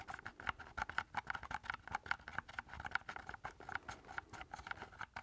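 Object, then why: Plastic keypad game controller. Fingertips tap rapidly on the casing and keys of a hollow black plastic keypad game controller with a knob, held up in both hands. The result is a quick, uneven patter of short, dry clicks with a hollow plastic tone around 1.4 kHz and almost no low end.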